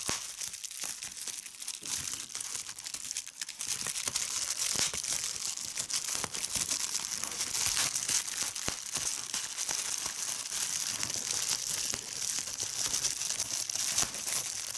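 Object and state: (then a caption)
Plastic bubble wrap. Fingers with long red nails hold and squeeze a clear plastic bubble wrap sheet, popping air bubbles and crinkling the film. The result is a steady, dense stream of bright crinkling with sharp, quick pops, almost entirely high-pitched with very little low end.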